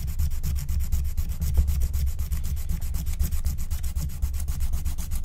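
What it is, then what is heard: Scratch-art card (wax-coated paper). A wooden stylus scratches the black wax coating of a flat, thin scratch-art card of wax-coated paper, held by a hand with long nails. It makes rapid, steady rubbing strokes, about four per second, with a dry, bright scratchy texture over a dull low rumble. The strokes carry on without pause for the whole clip.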